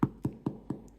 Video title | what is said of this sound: Recette de pain au levain naturel avec l'Application Recettes de pain Maison | vous entendez le bruit creux